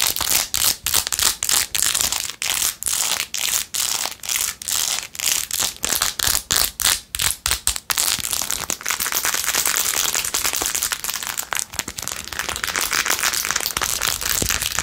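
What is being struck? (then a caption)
Plastic phone case studded with acrylic rhinestones. Long acrylic nails fast-scratch across the blue acrylic rhinestones and edges of a handheld clear/white plastic phone case. For about the first eight seconds the scratching comes in quick, separate, bright rasping strokes, then it turns into a dense, continuous, crackly scratching. The sound is almost entirely high-pitched, with very little low end.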